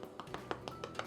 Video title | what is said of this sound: No Knead Bread - Store Cupboard Recipes | that's nice and Hollow and that basically means that your bread is now cooked through